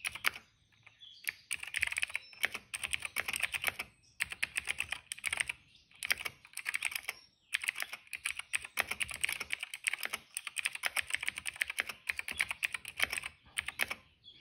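Fingertips type continuously on a cream plastic mechanical keyboard with purple and yellow accent keys. Rapid, bright, clacky keystrokes come in dense bursts separated by brief pauses, with each click dying away almost instantly.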